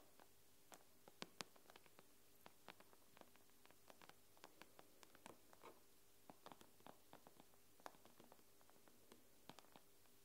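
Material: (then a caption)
Glass. Long nail tips tap quickly on the glass screen of an iPad, using both hands. Short, dry, bright clicks fall in an irregular pattern and die away almost instantly, over a faint, steady low hum.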